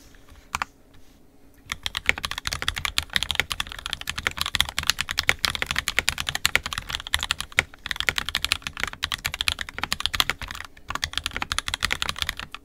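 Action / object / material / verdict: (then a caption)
tap / plastic mechanical keyboard / plastic / none. An NK65 Entry Edition 65% mechanical keyboard with a purple plastic case, red and black plastic keycaps, and lubed and filmed 67g Tangies switches is typed on fast with the fingertips of both hands, as in a typing test. After a quiet first second or two, a dense, steady stream of short, bright clacking keystrokes follows, each dying away almost instantly, with a few louder key hits standing out.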